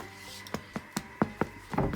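A baguette baked in a Monsieur Cuisine Connect is tapped on its crust in a series of short, dull, hollow thuds centred low around 215 Hz, ending in a quick cluster of taps. It sounds hollow; its crust is a little thicker and drier, and it makes more noise than the other baguette.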